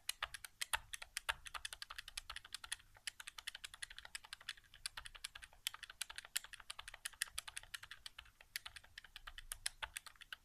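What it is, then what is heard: Plastic game controller buttons. Fingertips quickly tap the face buttons of a white, hollow plastic PS4 controller resting on carpet. A rapid, uneven stream of sharp, bright plastic clicks continues for about ten seconds. Each click dies away almost instantly and carries little low-end weight.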